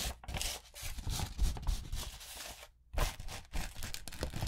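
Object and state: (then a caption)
Glitter-coated paper sheet. A gold and pink glitter-coated notebook paper sheet is rubbed and scratched with long nails and fingertips, making a dense, gritty scratching and crinkling with a bright hiss over a low rumble. The rubbing stops briefly just before the three-second mark, then resumes in quick, uneven strokes until the end.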